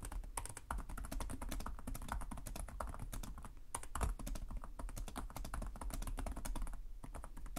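Both hands type steadily with their fingertips on the plastic chiclet keys of a black laptop keyboard. A fast, continuous run of light clicks and taps carries bright key clatter over a steady low thump. The key sounds are short and die away almost immediately.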